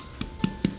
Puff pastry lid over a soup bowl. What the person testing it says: Kalau kau orang ketuk tengok bunyi dia kan? Ha garingnya pastri dia.